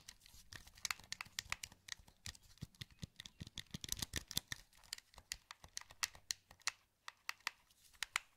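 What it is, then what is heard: Plastic game controller. A wired, hollow black plastic PS2 controller is held in both hands while thumbs click its buttons and rotate its sticks. The result is a quick, irregular run of sharp, bright plastic clicks and ticks with almost no ring, over faint scratchy rubbing and a low steady hum.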